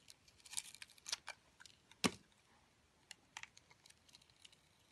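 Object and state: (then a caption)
Glitter-coated soap being scraped and cut. A metal cutter blade scrapes and slices the glitter crust off a solid round soap coated in orange glitter, held in the hand. Quiet, bright, crisp scratching crackles come in short bursts, with one louder, sharp crunch near the middle before the scraping thins out into sparse ticks.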